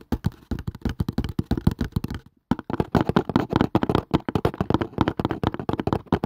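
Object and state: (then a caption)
Cardboard casing. A cardboard casing is tapped fast with the fingers, producing a rapid run of dull, soft taps with short decay and mostly low-frequency weight. The tapping pauses briefly just past two seconds, then resumes at the same quick pace.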